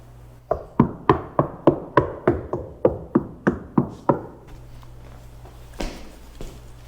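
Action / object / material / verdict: knock / car rear quarter panel, sheet metal with deadener / sheet metal / solid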